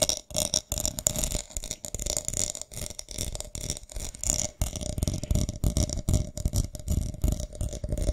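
Long nails scratch across a small, round decorative box covered in white pearl beads and flower gems, hollow with its lid on. The result is a dense, uneven stream of quick rattling clicks and scrapes, with low knocks underneath and a bright, crisp top. A faint steady hum runs beneath it.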